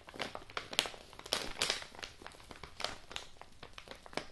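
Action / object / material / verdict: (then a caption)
scrape / kraft-paper padded mailing envelope / paper / none. A large, apparently empty yellow kraft-paper padded mailing envelope is squeezed and crinkled by fingertips and nails. Bright, dry crinkling and crackling bursts come in irregular succession, with quick decays and little low end.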